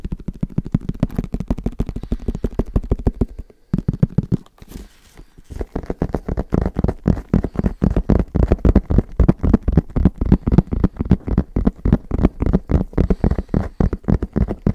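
Fingertips tap rapidly on the side of a tall, hollow, cylindrical plastic padel ball can held upright in one hand. The result is a fast, uneven run of short, dull, low hollow thuds with almost no ring. The tapping breaks off briefly near the four-second mark, then resumes louder and steadier to the end.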